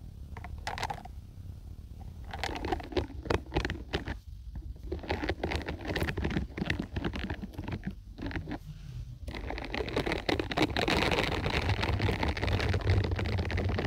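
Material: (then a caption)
Silicone. A hand-sized peach-orange scalp massager brush with many soft silicone bristles on a plastic base is held close to the microphone while long pointed acrylic nails scratch and flick the bristles. The sound is a dense, uneven patter of soft scratchy flicks and crackles over a low rumbling bed. It grows fuller and more continuous toward the end.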